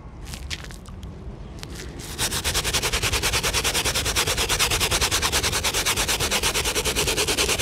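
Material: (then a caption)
Rubber. An Air Jordan 1 sneaker is held upside down while its wet, foamy rubber outsole is scrubbed with a soapy bristle shoe brush in repeated strokes. After about two seconds of quiet, scattered brushing, it becomes a steady, fast, rhythmic scrubbing with a bright, hissy texture that continues to the end.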